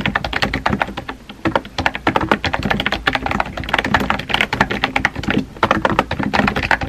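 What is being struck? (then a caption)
Plastic computer keyboard. Fingertips type steadily on a compact pink plastic keyboard with round white keycaps. Rapid, short clacking taps overlap in an uneven rhythm, each key strike dry and quick with a bright plastic click over a faint low thud.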